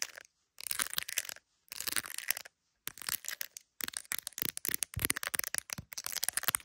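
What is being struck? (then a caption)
Smartphone in a clear plastic case. Long acrylic nails tap rapidly on the edge and camera area of an iPhone in a clear plastic case decorated with resin gummy bears, held up to a mirror. The sound is a stream of crisp, bright plastic clicks and light scratchy ticks in quick bursts, separated by short silences.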